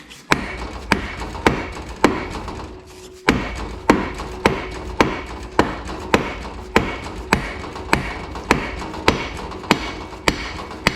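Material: Steel.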